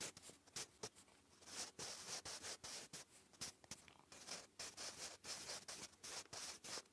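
A wooden graphite pencil writes cursive on a lined grey paper notebook page. The scratchy strokes come in quick, uneven bursts, thin and bright with almost no low end, each dying away almost at once.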